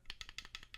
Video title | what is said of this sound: PSA Slabs Damage Your Cards?! PSA Torture Test | You can hear it makes noise